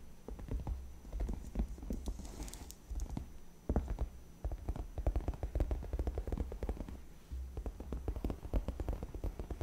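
A hand with long red painted nails taps and scratches the top edge of a large white padded faux leather (PU) gaming chair backrest, soft and cushioned, then both hands rest on its sides. Many quick, dull, muffled taps and soft scratches are heard, mostly low in tone, over a steady low hum.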